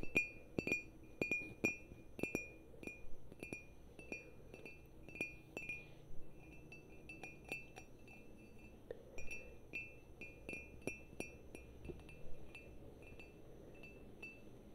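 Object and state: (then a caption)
Ceramic mug. A black glazed ceramic coffee mug with a yellow interior, hollow and empty-looking, is held in hand and tapped with long nails. The taps come in an irregular series of quick, bright clinks, each with a short ringing tone near 2.4 kHz that dies away quickly over a soft low background hum.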